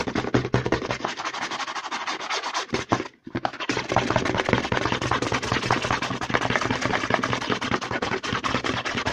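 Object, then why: Plastic lotion pump bottle. Fingertips and short nails rapidly scratch and tap the label side of a medium white plastic CeraVe lotion bottle with a green pump cap, held in one hand and apparently filled with lotion. The result is a dense, fast stream of dry clicks and scratchy rasps with a low hollow thump under them. A brief pause comes around the three-second mark before the rapid tapping and scratching resumes.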